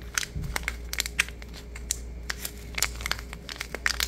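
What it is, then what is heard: Paper sugar stick packet, crushed. A small paper sugar stick packet with red ends, full of granules, is squeezed, crushed and crinkled in the fingers. It makes a rapid run of short, dry, bright crackles and crunches, each cutting off almost at once, over a faint steady low hum.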